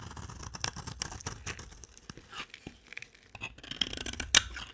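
A solid, dry, cream-colored soap bar held in the hand is scraped with a utility knife blade, shaving off curls. Crisp, bright scraping strokes come in quick bursts, with short shaving crackles and dry flicks. Some strokes are louder and sharper, including one near the end.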